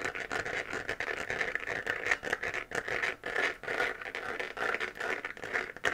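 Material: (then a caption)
Plastic. Long nails scratch across a hollow, textured, 3D-printed plastic moon-lamp sphere glowing white and held in both hands. The result is a steady stream of dry, crackly scratching with a bright, papery midrange around 1.8 kHz. It has almost no low end, and each stroke dies away quickly.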